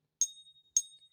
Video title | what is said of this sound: Silver Eagle Fake Showdown! Learn how to test your Silver Eagles! | that's what a real silver eagle should sound like